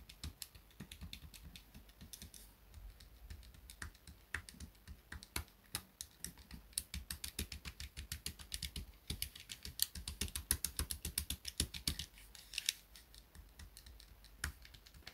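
A small grey plastic pocket calculator, held on a desk mat, has its plastic keys tapped and clicked by fingertips and nails. Quick, uneven runs of short, sharp clicks come through with a bright edge and a soft low thud under each press, with brief pauses between bursts.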